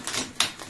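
A plastic part from a bathroom glass sliding door kit is flicked twice with a fingernail, giving two short, bright, high-pitched ticks with almost no low end and very little ring. The part isn't cold to the touch and is identified as plastic rather than steel or aluminum.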